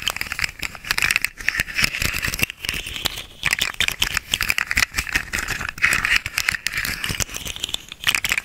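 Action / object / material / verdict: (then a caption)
shake / segmented hollow plastic slug toy / plastic / none. A small, hollow, segmented orange and green plastic articulated slug fidget toy is held upright in both hands while its segments are flexed and wiggled with the fingers. This produces a dense, continuous run of rapid, bright rattling clicks centered around 2 kHz, with each click dying away quickly and very little low end.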